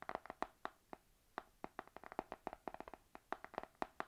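Long nails on both hands tap rapidly on the laminated card cover of a spiral notebook with a panda on it. The result is a quick, irregular series of sharp, dry clicks with a faint hollow tone around 730 Hz, each dying away almost instantly between taps.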